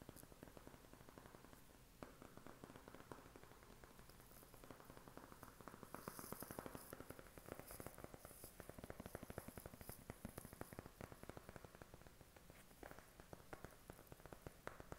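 A flat white cardboard eyeshadow palette box, held up in both hands, is tapped rapidly with fingertips and short nails. The result is a quiet, steady stream of soft, dull papery taps with a low hollow thump and occasional brighter clicks from the nails.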